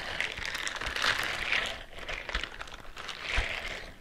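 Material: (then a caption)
Silicone. Fingernails on one hand scratch the bristles on the fingers and palm of a white silicone bristle scrubbing glove worn on the other hand, close to the microphone. The result is a steady, bright, crackling scratch with denser bursts throughout, and only a faint low rumble underneath.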